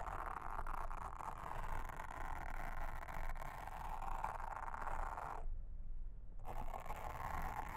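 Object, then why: Silicone honeycomb trivet mat. A pink mascara spoolie brush, held in a hand with long red nails, brushes and scratches a round blue silicone trivet mat with a honeycomb texture, lying flat on a table. Steady soft scratchy rustling fills the mid-range over a low rumble, with a brief drop in the scratching near the end before it resumes.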